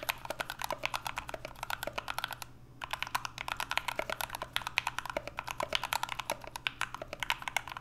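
Two hands type continuously with their fingertips on an NK65, a 65% mechanical keyboard with an aluminum case, Everglide Aqua King switches and PBT Notion keycaps. A rapid run of short, crisp, bright keystrokes clacks along over a faint low steady hum. There is a brief pause near the middle before the typing resumes.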